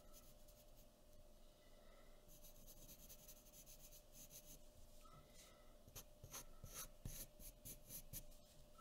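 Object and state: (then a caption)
Pencil drawing on paper. A graphite pencil tip is scratched slowly in fine strokes across a thin sheet of white drawing paper resting on a wooden table, working near the outline of a face. Soft, steady scratching and rubbing fills the first half, then turns into sharper, brighter rasping strokes toward the end, over a faint constant hum.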